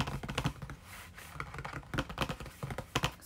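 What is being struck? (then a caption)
Printed cardboard sweet box. Fingernails tap quickly along the surface and edges of a printed cardboard Orange Burfee sweet box held up in both hands. The result is a run of short, dry clicks and hollow ticks with a soft low body and bright edges, each dying away almost instantly. The tapping pauses briefly near the middle of the clip before resuming.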